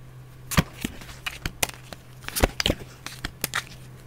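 A small, solid deck of paper playing cards with red Spider-Man-style backs and white edges is held in both hands while the fingertips cut, riffle and shuffle them. Around 13 sharp, bright card-edge flicks and short sliding rasps come at an irregular pace over a faint, steady low hum.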